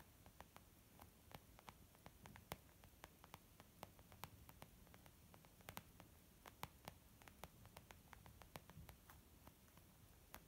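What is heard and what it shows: Both hands tap with nails and fingertips on a white textured leather zip pouch used as a makeup bag. The result is a steady run of quick, dry clicks with bright, sharp edges over a constant low, hissing background hum.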